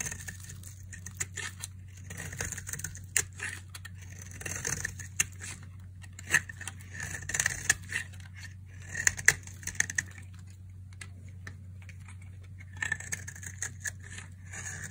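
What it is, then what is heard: Dry bar soap scraped with a blade. A metal blade scrapes fine shavings and crumbs off a dry, palm-sized green bar of soap with white stripes, held in a hand with long nails. Dry, crisp scratching strokes with sharp, bright clicks come in bursts over a steady low hum.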